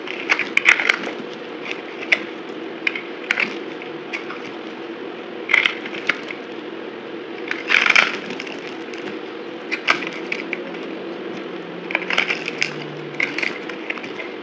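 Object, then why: Bar of soap cut with a knife blade. A utility knife blade cuts and scrapes a solid, dry white bar of soap held in the hand, cracking off dry, brittle chunks. Sharp, bright cracks and crisp scraping snaps come in irregular bursts. A faint, steady low hum runs underneath.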